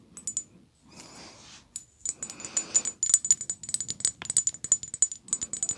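Long polished nails tap a small, tall rectangular glass perfume bottle, partly full of pink glittery liquid, making quick bursts of bright, high-pitched clicks with a thin glassy ring. Soft scratchy rustling fills the gaps between the tapping runs.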